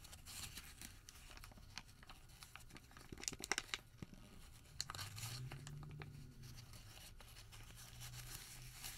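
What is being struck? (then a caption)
Thermal paper receipt. A white thermal paper receipt is pinched small, then opened and folded between the fingers of both hands. It makes dry, bright crinkling and crackling with short tearing-like snaps, which peak in a louder cluster midway. Underneath sits a faint low hum that swells briefly.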